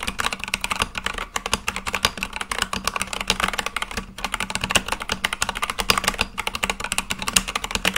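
Fingertips type quickly and continuously on a full-size Akko mechanical keyboard with white and light-blue plastic keycaps on a black case. A steady stream of short, bright, clicky keystrokes rattles on, with brief pauses near 1.3, 4.1 and 6.3 seconds.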